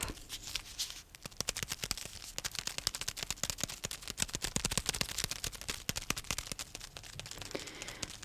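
A bar of soap wrapped in paper is tapped in a rapid, steady stream of quick taps. Each tap is a sharp, crisp, crinkly click, bright and high-pitched, with almost no ring after it.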